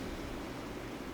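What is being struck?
Nothing is struck.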